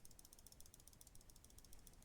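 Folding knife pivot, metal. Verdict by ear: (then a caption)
Loose. A Brous Blades Silent Soldier folding liner-lock knife is moved, making a quick series of faint, dry metallic clicks and a light rattle from the pivot. The rattle comes from the bearings or washers, not the blade tapping. It has been there since new and has not changed in about a month of use, so it is put down to tolerances.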